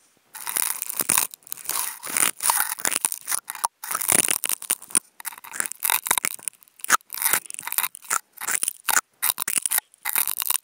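Two wooden toothpicks fitted with contact mics are scratched across the fibers of a white nonwoven fabric sheet. Many short, dry, crunchy scratching bursts, some tearing or scraping, come in quick bursts with brief silences between them. The sound is bright with almost no low end.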